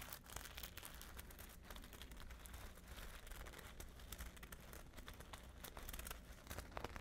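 Long nails scratch and tap a hollow, flat patchwork clutch covered in multicolored glass seed beads, held close to the face. The result is a quiet, steady stream of dense, crinkly bead clicks and rasps, with a low hum underneath.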